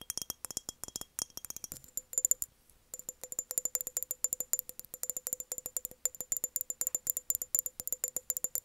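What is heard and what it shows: Long nails tap rapidly on an empty, hollow embossed glass mason jar with a metal lid as it is held in the hands and tilted. Dozens of short, crisp clicks come in quick bursts, almost entirely high and bright with a faint mid ring, and there is a brief pause near the three-second mark before the tapping resumes.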